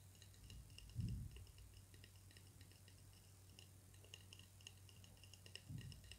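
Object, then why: Wooden drumsticks. Two slim, solid wooden drumsticks held in the fingers are tapped against each other, giving a string of light, bright clicking ticks over a steady low hum. Two louder, dull low thumps stand out near the start and the end.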